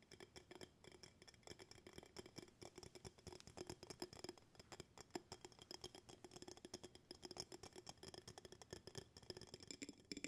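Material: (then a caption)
Glass. Fingertips and nails tap rapidly on the walls of an empty glass jar with a bamboo lid, held sideways. Dozens of quick, light clicks with bright, glassy highs and a faint low ring around 350 Hz fade almost instantly, sounding at a steady, fluttering pace throughout.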